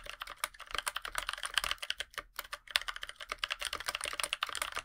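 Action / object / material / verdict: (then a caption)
tap / aluminum-cased mechanical keyboard with PBT plastic keycaps / aluminum, plastic / none. Both hands' fingertips type continuously on a NovelKeys NK65 compact 65% mechanical keyboard with a black aluminum case, white PBT plastic keycaps and lubed NovelKeys Blueberries tactile switches. The result is a rapid, steady stream of short, bright, crisp key taps with almost no low end and no ring after each press.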